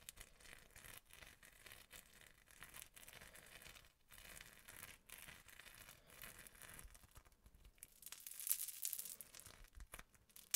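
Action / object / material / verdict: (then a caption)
scrape / slime filled with foam beads / slime / none. Crunchy foam-bead slime is pressed between the fingers, then stretched into long strands, giving a steady, quiet stream of bright crackling and popping. The crunching swells louder and sharper near the end before tapering off.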